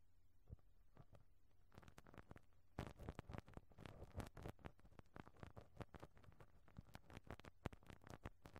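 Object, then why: Perforated metal microphone grille rubbed with a rubber brush. A pink rubber brush on a black handle is rubbed and scrubbed across the perforated metal mesh grille of a cylindrical microphone head. It makes soft, quiet, low, thumping scratches that start sparse and become a dense, rapid patter of short scrapes and taps, with brief bright flecks, from about three seconds on.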